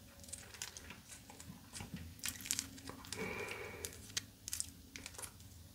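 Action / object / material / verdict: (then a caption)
tap / sugar crystal candy / crystallized sugar / none. A small, rough chunk of pink crystallized edible sugar candy, held in one hand, is scratched and tapped with long blue acrylic nails. The result is a run of crisp, bright scratching, crackling and sharp little clicks that stop dead with no ring.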